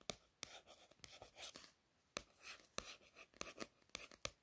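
Soft, hissy scratching strokes alternate with crisp nail clicks, about a dozen sharp ones, all bright and gone at once. The sound is thin and papery with almost no low end, like nails tracing over the printed card cover of a paperback in a quiet small room.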